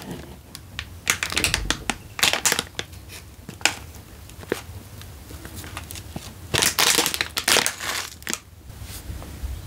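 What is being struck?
Instant noodle packet in plastic wrapper.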